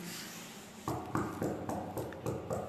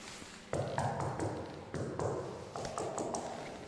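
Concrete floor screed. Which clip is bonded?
The first.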